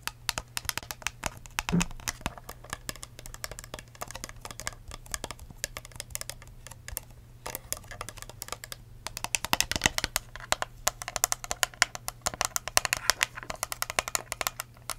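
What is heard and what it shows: Long acrylic nails tap and scratch a hand-sized, hollow, empty clear plastic cup with wavy ridged sides, a blue lid and a curly straw. Rapid, crisp, dry clicks with a bright plastic edge come in quick bursts and scratchy runs, each dying away almost instantly. A steady low hum sits underneath.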